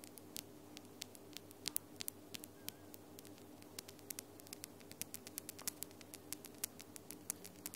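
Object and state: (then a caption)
Acrylic nails tapping together. Long almond-shaped acrylic nails with lilac glitter polish tap against one another, one hand's nails on the other's, close to but not touching the microphone. Dozens of sharp, dry clicks with bright, instant decays arrive in an irregular quick patter over a quiet, steady low hum and faint static hiss.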